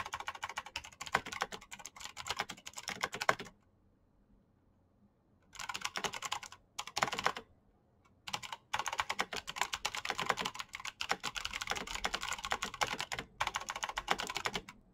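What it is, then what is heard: Plastic mechanical keyboard. Fingertips fast-type on a black plastic mechanical keyboard with clicky switches, producing dense bursts of sharp, bright clacks with very little low end. The typing stops for about two seconds near the 3.5-second mark, resumes in short bursts with brief pauses, then runs almost continuously to the end.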